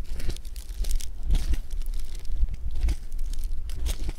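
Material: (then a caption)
Foam beads. A handful of blue foam bead clay is stretched, pressed and folded by fingertips. It makes a steady run of dense crackling and crinkling pops with a few brighter bursts over a low rumble.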